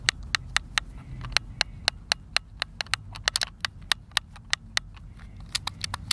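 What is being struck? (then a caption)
Plastic game controller. A white, hand-sized, hollow plastic Xbox controller is held in both hands while thumbs and fingertips repeatedly press and tap its face buttons. It makes a quick, uneven run of short, sharp, bright clicks with almost no ring, over a faint low hum.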